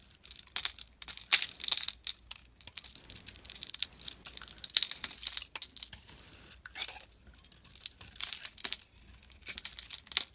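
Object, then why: Bar of soap scraped with a metal blade. A metal snap-off blade scrapes curls off the pink layer of a solid pink Imperial Leather soap bar with a white core, held in the hand. The result is a quiet, steady run of crisp, bright scraping and crinkling strokes with no low end, each stroke short and dry with almost no ring.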